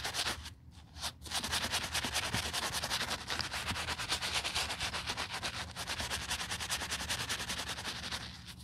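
The heel of a white leather sneaker with a green tab, resting on a towel, is scrubbed with a foamy, wooden-handled bristle brush. Rapid, bright, scratchy brushing strokes repeat with a few short pauses early on, producing a steady hissing rasp.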